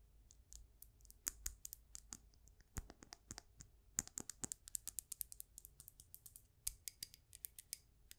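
Long acrylic nails tap rapidly on the outer wall of a white ceramic mug filled with succulents. About three dozen sharp, bright clicks sound in quick, uneven bursts, each dying away almost instantly.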